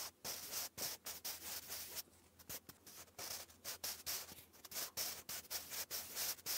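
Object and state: Pencil writing on lined cardstock.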